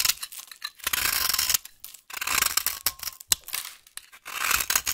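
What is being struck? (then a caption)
Bar of soap carved with a knife blade. A solid, dry, yellow vintage soap bar held in the hand has its edge carved with a utility knife blade into crumbly curls. The blade makes bright, scratchy, tearing scrapes in several sustained strokes with short crackly bursts between them. Crumbly curls flake off the edge.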